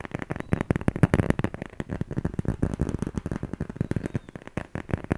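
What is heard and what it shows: A handheld smartphone in a solid black plastic or silicone case is held close to the microphone and tapped and scratched with fingertips and nails. The result is a rapid, uneven run of dry, muffled taps and crackly scratches, heavy in the low end, with almost no ring after each hit.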